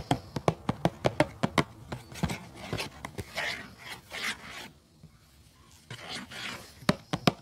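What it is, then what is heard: Cardboard tea box. Fingertips tap quickly on the front panel of a hollow, rectangular printed cardboard tea box held upright on a rug, making short, dry, hollow knocks. The tapping gives way to soft, rasping scratches across the panel, then a few more crisp taps at the end.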